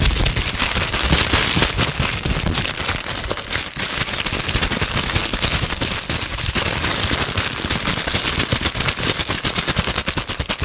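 A small piece of clear plastic bubble wrap, held close to the microphone, is pinched and popped with fingertips and long nails. It makes a dense, continuous stream of sharp, bright crackling pops with a low thump under them. The crackle runs steadily from start to finish.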